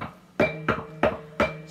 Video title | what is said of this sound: The In House Musician: Episode one "The old telecaster" | almost the whole back of the guitar becomes a resonant plate